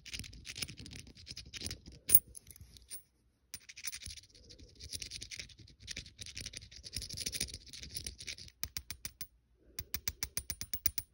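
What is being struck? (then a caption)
Small metal coin. A single small, solid, silver-coloured metal coin is held in the fingers above a fleece blanket while a fingernail scratches across its face and edge. Bright, dry scratching comes in bursts, with a brief pause near the start. Toward the end it turns into a rapid run of sharp, short ticks.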